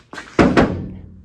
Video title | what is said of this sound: I Blew Up The Transmission in the New Farm Truck | you knock on the bedside they feel fairly solid